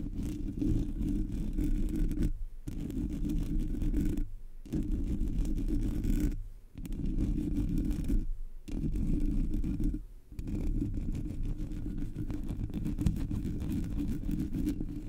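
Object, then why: Metal mesh microphone grille. Fingers and long nails of both hands scratch the hollow black metal mesh grille of a Blue Yeti microphone. The result is a dense, continuous, boomy scratching rumble concentrated in the low end, broken by brief silent pauses around 2.5, 4.5, 6.6, 8.5 and 10.3 seconds.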